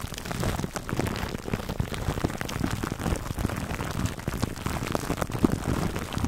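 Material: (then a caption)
Plastic film. Fingertips and nails scratch clear plastic cling film wrapped over a black foam microphone windscreen. The result is a dense, continuous crackling rustle, heavy in the low end with little high brightness, that sounds like rain pattering on a surface.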